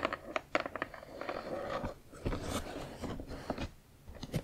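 Long acrylic nails tap and scratch along the narrow side edge of a hollow, printed cardboard Spirograph box. Sharp, crunchy clicks are broken up by dry scraping passages, with a hollow midrange body and quick-dying taps.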